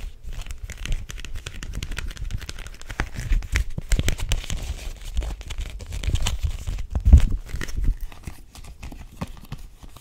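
Long nails tap and grip the cover and edges of a small, thin cardboard-covered illustrated picture book held in both hands. Dense, rapid, dull taps mix with soft crinkling and scraping, mostly low and muffled, with brief louder grips around the seventh second.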